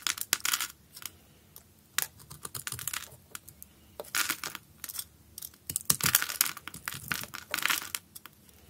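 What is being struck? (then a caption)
Bar of soap cut with a blade. A utility knife blade scrapes and cuts a solid green bar of soap held in the hand and pre-scored into a grid, shaving off small cubes that fall onto a dark mat. Bursts of bright, crisp crackling and scratchy cutting come in uneven clusters with quiet gaps between. The clicks are short and dry, with almost no low end.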